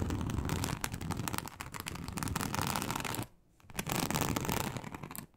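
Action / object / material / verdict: scrape / embossed leather sheet scratched with long nails / leather / none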